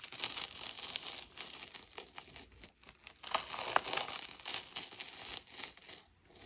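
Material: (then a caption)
Chalk. Hands squeeze and crumble a solid dome of packed powdered chalk, breaking off chunks and dust. The sound is a dry, continuous crunching and crackling, bright and hissy with almost no low end, rising and falling in short gritty bursts.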